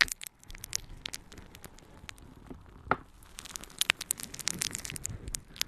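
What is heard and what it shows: A palm-sized, soft, light, yellow porous natural sea sponge is held in one hand and scratched and squeezed with long painted nails. It makes quiet, dense, bright crackling and scratchy clicks over a faint rustling bed, with a few sharper snaps standing out.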